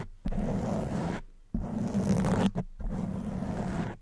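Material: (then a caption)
Foam. Long white nails scratch a black foam microphone windscreen with alternating hands, producing three sustained bursts of dense, muffled scratching. The sound is low and rumbling, with a steady hum-like tone near 200 Hz and little bright content, separated by brief near-silent gaps.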